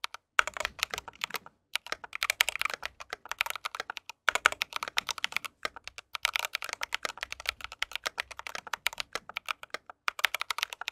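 Fingertips of both hands type on an RGB mechanical keyboard with white plastic keycaps. Rapid bursts of short, crisp, bright keystroke clacks are broken by a few brief pauses. Each click dies away almost instantly.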